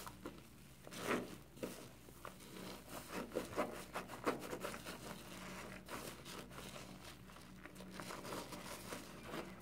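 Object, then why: Foam kitchen sponge with scouring layer. A hand-sized, porous yellow foam kitchen sponge with a green scouring layer, soaked in soapy water in a tub, is squeezed, folded and rubbed by fingertips. It gives wet, crinkly squelches and soft crackling bursts over a steady low bubbling rustle, with the loudest squeezes in the first half.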